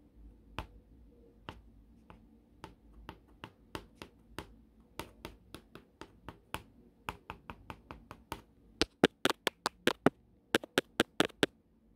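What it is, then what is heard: Plastic cutting mat tapped with pencil. A wooden pencil held in hand taps its tip on a flat, solid, green gridded plastic cutting mat. It makes 29 sharp, dry clicks at an irregular pace that grow louder and quicker toward the end, each dying away almost instantly.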